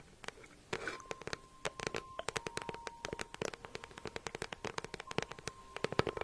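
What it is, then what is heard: Faux leather handbag, hollow. A small, hollow green crocodile-embossed faux leather handbag with a gold clasp is held up and tapped and scratched with long nails. Dense, quick, sharp clicks and taps overlap soft scratchy rustles, with faint steady tones running underneath. The taps are dry and crisp, with almost no ring after each one.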